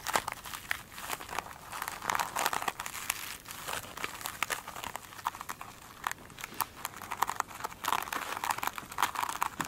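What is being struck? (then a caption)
Foam sponge with a glittery scrub top. Long acrylic nails tap and scratch along one flat oblong foam sponge with a sparkly, glitter-coated scrubby top. The result is a steady stream of quick, dry crinkling and scratchy clicks, centred around 1 kHz with bright, airy edges and almost no low end. Each tap stops instantly, with denser, louder bursts near the start and end.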